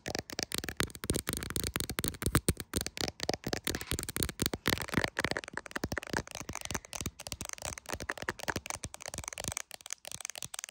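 Very long acrylic nails tap rapidly on the rear camera area and back of a clear plastic case on an iPhone Pro, held in both hands and seen in a mirror. Because the phone itself is recording, the taps land right at the mic as a dense, nonstop stream of sharp, dry clicks with a low thump and bright edge. Each tap dies away almost instantly, with only brief gaps in the rapid run.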